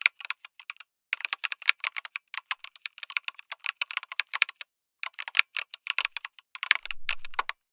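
Fingertips type on a lit mechanical keyboard with an aluminum case and plastic keycaps, producing rapid, bright, clicky keystrokes in quick bursts separated by short pauses. The clicks are crisp and dry with almost no ring. Near the end, a faint low rumble sits under the final run of keystrokes.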